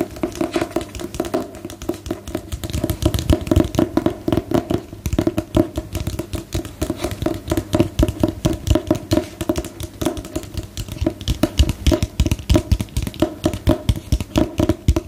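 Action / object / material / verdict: tap / hardcover paper book / cardboard / none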